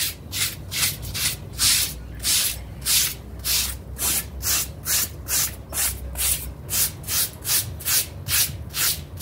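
A pink stiff-bristle scrub brush rubs back and forth across the pile of a small, damp, dirty blue synthetic-fiber mat while fingertips hold its edge. About 14 bright, hissing scrub strokes come at a loose rhythm of roughly two per second over a faint low rumble.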